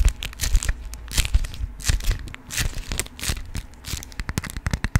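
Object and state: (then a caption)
Beeswax fabric food wrap. A yellow honeycomb-print beeswax cotton food wrap is crumpled and crinkled in the hands and scratched with nails. It makes a dense run of crisp crackles, sharp papery snaps and bright rustling bursts over soft low handling thumps.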